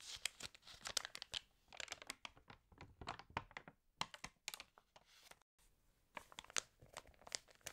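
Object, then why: Glossy paper magazine pages. An open, water-damaged glossy paper fashion magazine has its pages turned and rubbed with the fingers. Dense, bright crinkling and tearing-like rustles come in quick clustered bursts. Short quiet gaps fall between them, and one is fully silent near the middle.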